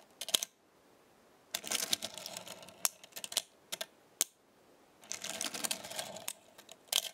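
Small thin metal star pieces stacked on a black star-shaped magnetic base are lifted and shifted with fingertips and long nails so they clink together. Bright, sharp clicks come in two dense rattling bursts, separated by isolated single clinks and quiet pauses. Each clink stops almost instantly with no ringing.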